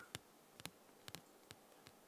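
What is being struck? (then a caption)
Paper concert ticket. A paper concert ticket, from a show the owner's brother attended, is tapped lightly seven times. The taps are short, dry, crisp ticks with almost no ring, quiet against a soft background hiss.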